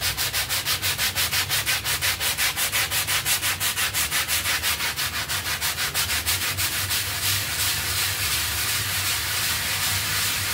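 A bristle hand brush scrubs a foam-covered, half-round textile pile rug in fast strokes. Bright, bristly swishes repeat in a steady rhythm of about three per second, then blur into a continuous wet scrubbing hiss for the last few seconds.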